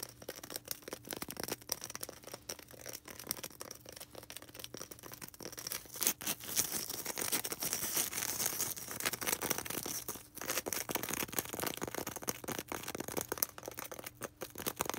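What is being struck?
Polystyrene foam ball.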